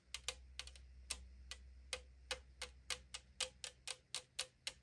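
Long acrylic nails tap the side wall of a tall 500 ml aluminum drink can lying on a table, making 18 quick, bright clicks with a hollow, thin-metal ping. Each tap dies away almost at once over a faint low hum.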